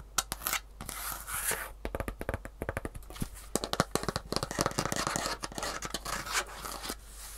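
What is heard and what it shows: A single Superfeet shoe insole, a small, solid piece with a rigid green plastic heel cup on grey foam, is held in one hand while long fingernails scratch and tap its plastic underside. Rapid, sharp, dry clicks with very short decay mix with brief raspy scraping strokes, forming a dense, uneven stream of fast taps.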